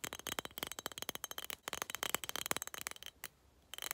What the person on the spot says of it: tapping on skull cup (glass sounds)